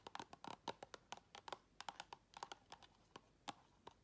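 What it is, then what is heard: Full clear plastic tub. Long red acrylic nails tap and scratch the round flat lid and side of a full, round clear plastic tub. About twenty quick, dry clicking taps come in an uneven fast rhythm, with a midrange knock near 800 Hz and bright edges. Each tap dies away almost instantly, leaving faint scratchy rustle between them.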